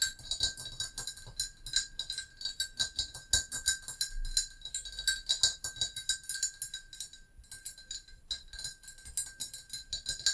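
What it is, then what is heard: Ceramic mug tapped with fingernails. Long acrylic nails of both hands tap rapidly on a hollow, brown glazed ceramic mug with a handle, standing on a book. The taps are bright, dry clicks in an uneven, fast rhythm with a faint steady high ring, and the tapping pauses briefly near the end before continuing.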